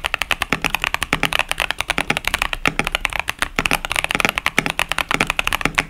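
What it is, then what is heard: Mechanical keyboard with plastic keycaps. Fingertips of both hands type continuously on a 65% KBD67 Lite mechanical keyboard, built with a polycarbonate plate, a foam-dampened case, Boba U4T tactile switches and pastel Cherry-profile plastic keycaps, sitting on a desk mat. About 42 crisp, bright keystrokes are heard, each a short clack that dies away almost instantly with very little low-end thump. The strokes come in a steady, slightly uneven typing rhythm.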